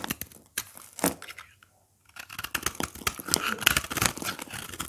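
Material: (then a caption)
Soap. A craft blade scrapes and shaves the face of a solid green oval soap bar with a powdery dry surface, held in the hand. It makes bright, dry, crunchy scratching and tearing sounds in quick bursts. After a short silent pause, the shaving resumes denser and louder.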